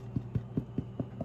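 A small ciabatta loaf, fresh from the oven and lifted in a towel, is knocked on its bottom six times. Each knock is a dull, hollow, low thud with almost no ring. The hollow sound shows the bread is baked through, done quickly because the loaves are small.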